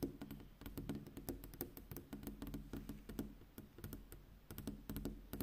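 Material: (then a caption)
Glass. Long pink acrylic-style fingernails, with fingertips in a black fingerless glove, tap rapidly on a large flat glass window pane that reflects the street at night. The result is a quick, uneven stream of short, dry clicking taps with a soft low tone and almost no ring after each hit.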